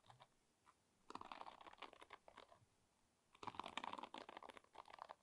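Fingertips and nails strum and scratch across the wooden pins of a wooden paddle hairbrush about 20 cm long. A few faint ticks lead into two dense bursts of dry, rapid clicking and rattling, bright and crisp with almost no low end. Each burst dies away at once with no ring.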